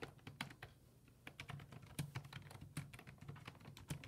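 A black plastic full-size desktop keyboard with low-profile keys, resting on a wooden desk, is typed on rapidly with fingertips. It gives a quick run of short, crisp clicks and taps that vary in loudness, over a faint low steady hum.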